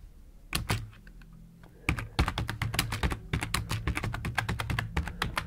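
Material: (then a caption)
Plastic. A black plastic computer keyboard with hollow plastic keycaps sits on a wooden desk beside an idle mouse and is typed on with the fingertips of both hands. A couple of keystrokes are followed by a short pause, then a rapid, continuous run of typing. Each key gives a bright, dry click over a low, hollow thunk that dies away almost instantly.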